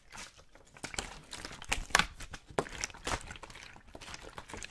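A clear, thin plastic water bottle with a label, hollow and mostly empty, is held in the hands and squeezed, crinkled and rubbed close to the microphone. Bright, crackling crinkles and sharp pops come in bursts over a soft rustle, with the loudest snaps near the middle.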